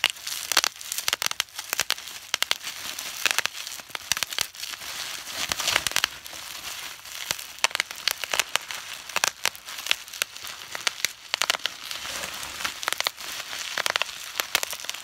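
Fingers pinch and pop the large air bubbles of a sheet of clear plastic bubble wrap, crumpling it up close. Dense bright crinkling runs throughout with frequent sharp popping snaps, and almost no low end.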